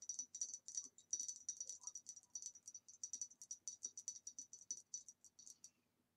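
Long nails tap and scratch along the ribs of a hollow, empty green ribbed glass vase lying on its side on a table. A fast, steady series of bright, glassy clicks comes through, each with a high, thin ring that dies away almost at once. The tapping continues evenly before stopping abruptly.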